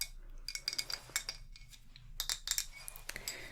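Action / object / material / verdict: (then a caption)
tap / glazed ceramic oil burner base / glazed ceramic / none. Light clinking taps on the glazed ceramic base of a handmade frog oil/wax burner, which has a small well for a tea light and sits on a desk or table. The taps are bright and high-pitched with very short ring, coming in quick irregular clusters over a low background hum.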